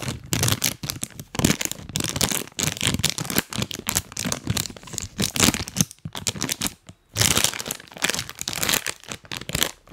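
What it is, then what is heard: Plastic snack bag being crinkled. A full printed plastic cookie bag is held close to the mic and rubbed and crinkled by fingers wearing rubber toy hands. Dense, bright, crackly crinkling runs continuously in bursts, with brief quiet gaps.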